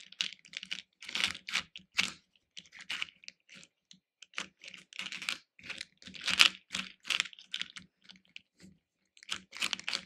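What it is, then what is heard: Hard-shelled candies stirred in a plastic bowl. Fingers rummage and stir through loose hard-shelled candy pieces in a small pink plastic bowl. Quick bursts of bright, dry clicking and rattling come in irregular clusters with short pauses between them, each click dying away almost instantly.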